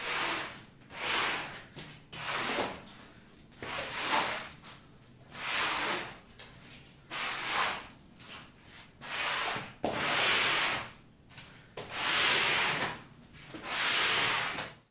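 A push broom with a long handle, pink head and green plastic bristles scrubs back and forth across a large, flat, soapy-wet woven fabric rug that is very dirty and full of mud, lying on a tiled floor. About nine bright, hissing wet scrubbing strokes rise and fade in an uneven rhythm, with quiet gaps between them.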